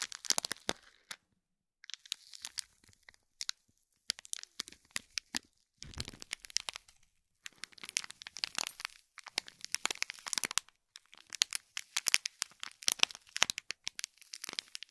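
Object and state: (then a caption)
Foil-wrapped gift box crinkled. Fingernails on both hands scratch and squeeze the crinkly foil wrap of a small gold foil-wrapped cube gift box in plastic film. Dense bursts of bright, sharp crackling and crinkling come and go with brief silent pauses, with almost no low end.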